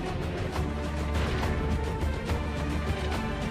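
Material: Nothing is struck.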